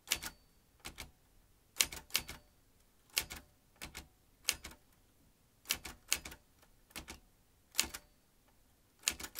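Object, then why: Manual typewriter with metal typebars. An old manual metal typewriter with metal typebars and round keys is typed with the fingertips, so each key drives a typebar into the mechanism. Sharp, bright metallic clacks come in irregular clusters of two or three, each dying away almost instantly, with quiet pauses between bursts.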